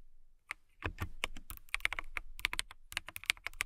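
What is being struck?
Plastic mechanical keyboard.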